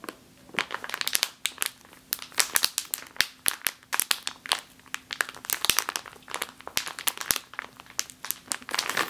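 A full plastic bag of flour is squeezed with both hands and then tapped with fingernails, producing dense, bright crinkling and crackling bursts. The sharp rustles come in quick clusters with very short decay, and nothing is heard in the low end.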